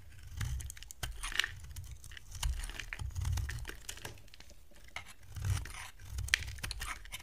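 A box cutter blade shaves curls off the edge of a solid, dry, oval yellow bar of soap held in the hand. Many quick, crisp scraping cuts are heard as short bright ticks over soft low rumbling swells.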